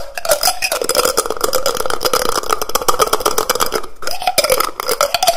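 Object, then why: Small glass jar with metal screw lid. Fingertips and nails tap and twist the metal screw lid of a small, empty, clear glass jar held in one hand. The result is a fast, continuous stream of sharp metallic clicks and scrapes over a steady ringing tone near 1.2 kHz, with bright high edges. There is a brief lull just before the fourth second.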